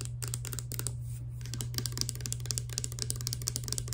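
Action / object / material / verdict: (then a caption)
tap / small plastic pump bottle with liquid / plastic / none. A small clear plastic Fructis hair serum bottle with a green pump, hollow and holding clear liquid, is held in one hand and tapped fast with long nails. The result is a rapid run of sharp, bright clicky taps over a steady low hum.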